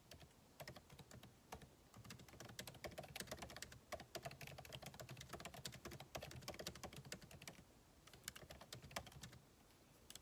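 Fingertips of both hands type rapidly on the backlit keyboard of a solid MacBook Pro, with plastic keycaps in an aluminum body, resting on a desk. The quiet key taps come in a fast, uneven stream of short, dry clicks with bright edges and a soft low thud beneath, easing into sparser taps near the end.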